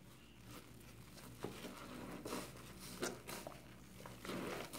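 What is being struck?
Foam kitchen sponge with scouring pad.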